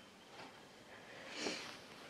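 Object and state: Nothing is struck.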